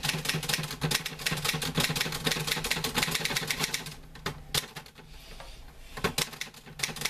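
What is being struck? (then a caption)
Metal manual typewriter keys. A green-grey metal portable manual typewriter with paper loaded is typed on with the fingertips of both hands, giving a dense run of quick, bright clacking keystrokes over a steady low hum. About four seconds in, the typing thins to scattered sharp key strikes before picking back up toward the end.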